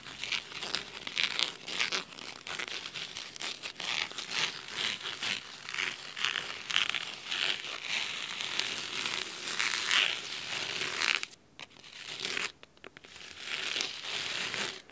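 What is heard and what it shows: Fingernails scratch along the navy cloth spine of a thick hardcover book. The sound is a steady, bright, crisp scratching with a fine crinkly texture and almost no low end. It drops briefly near silence twice toward the end before resuming.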